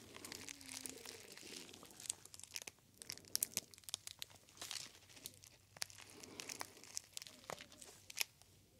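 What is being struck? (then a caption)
Metallic foil packaging pouch. A small gold metallic foil pouch with a paper label is held close to the ear and squeezed and crinkled between the fingers. The result is a steady stream of bright, dry crinkling and crackling, punctuated by sharp, high snaps. It is quiet overall, with almost no low end.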